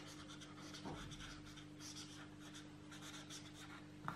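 A felt-tip marker is stroked over the page of an open paperback coloring book on a table while coloring, with the other hand holding the book flat. Soft, continuous scratchy rubbing with bright, hissy strokes runs throughout over a faint, steady low hum, ending in a slightly sharper tap-like scrape.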